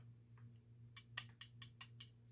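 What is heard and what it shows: Six light, sharp taps on the die-cast metal running board of a Sonic Models A5 model locomotive give bright, short metallic clicks over a low steady hum. Tapping it reveals the running board is die-cast metal rather than plastic like the boiler.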